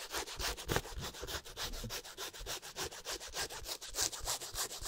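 An empty black leather high-top sneaker with a white sole is rubbed and scratched with fingertips and nails in quick, steady back-and-forth strokes. The sound is a soft, dry, bright rasping that pulses with each stroke and has a faint low thump underneath.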